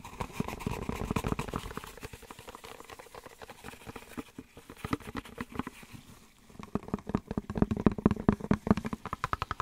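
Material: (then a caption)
Cardboard. A small, empty, open-ended white cardboard soap box sleeve, hollow and held up in gloved hands, is tapped or scratched with the fingertips. Rapid, uneven, dry hollow taps with a low-mid body die away almost instantly. The tapping softens through the middle, then returns louder and busier toward the end.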